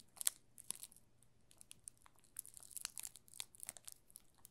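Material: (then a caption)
Plastic film. A yellow solid bar of soap wrapped in clear plastic film is held and tilted in both hands while fingertips press and rub the film. Quiet, bright, crisp crinkling and crackling comes in scattered bursts and short clusters, with a few sharper snaps near the start. A faint steady low hum sits underneath.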